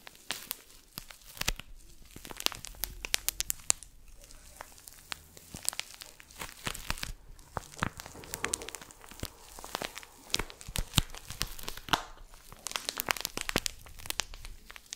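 A palm-sized rounded soap or sponge, sealed in thin labeled plastic film and held close to the mic, has its wrapping crinkled and scratched with fingertips and nails. The result is dense, bright crackling and crinkling, with sharp, dry clicks that stop instantly and continue without pause for the whole clip.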